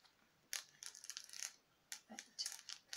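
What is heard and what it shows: Long nails tap the skull of a thin, hollow, translucent frosted hard plastic skeleton decoration. The result is quick, bright, clicky taps with almost no low end, arriving in short clustered bursts separated by brief quiet gaps.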